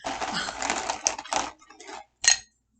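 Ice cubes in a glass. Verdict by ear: Solid.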